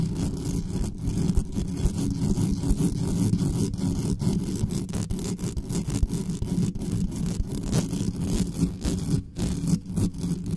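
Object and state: Metal mesh microphone grille being scratched.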